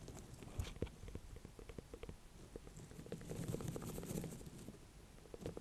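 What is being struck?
Small ornamental pumpkin (gourd).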